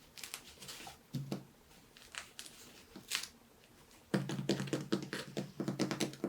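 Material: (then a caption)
Bread crust. A baked baguette's crust is tapped repeatedly, giving dry, crackly taps with a low hollow thump. The taps come sparsely at first, then speed up into a quick, irregular run over the last two seconds.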